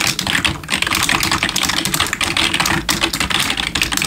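Both hands type with their fingertips on a full-size black plastic gaming keyboard with RGB backlighting and likely membrane keys, resting on a wooden desk. A rapid, steady stream of short, bright plastic clicks and taps is heard, centred around 2.6 kHz, with little low end and each keystroke dying away almost instantly.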